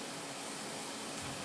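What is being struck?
Nothing is struck.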